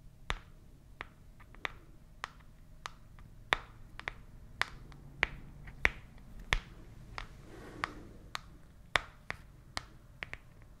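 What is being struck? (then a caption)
Small printed cardboard box. Long fingernails tap a small, hollow, white printed cardboard product box, making 20 sharp, bright clicks at an uneven pace. Each tap dies away almost instantly over a faint, steady low hum.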